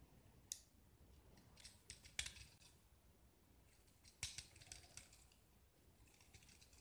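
A small, solid white gypsum block splattered with orange paint is held in one hand and scraped and carved with a steel utility knife blade, breaking off shavings, while other painted blocks sit nearby untouched. Quiet, dry, bright scratching and crisp crunchy cuts come in irregular strokes, with a few sharper, louder snaps standing out.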